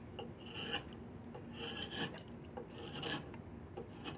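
A flat chisel scrapes along the surface of a solid diamond willow walking stick in a series of rasping strokes. Each pass has a gritty, bright texture with a faint squeaky tone near 3 kHz, over a low, steady background.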